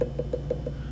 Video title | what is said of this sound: Ceramics I :Trimming a basic cylinder | i'm going to tap it and listen for thickness